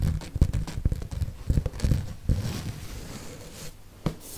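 Fingertips and nails tap the page edges and glossy back cover of a red and pink hardcover paper book. The result is an irregular run of short, dull, low thuds with quick decay, mixed with soft scratchy rustles.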